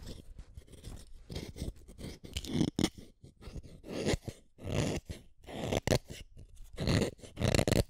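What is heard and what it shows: A utility knife blade shaves a small, solid black-lead wooden pencil in repeated scraping strokes. Each stroke is a short, dry, rasping scrape with a gritty low body and bright splintery edges. It gives no ringing tail between strokes.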